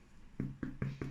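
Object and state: Hollow-sounding baked sourdough loaf.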